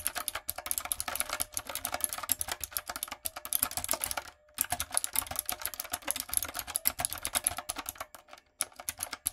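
A backlit, typewriter-style mechanical keyboard with round retro plastic keycaps and a hollow plastic body is typed on with long coffin nails and fingertips. The result is fast, bright, hollow clacking with sharp, short-lived keystrokes and little low end, broken by a brief pause in the middle and another near the end.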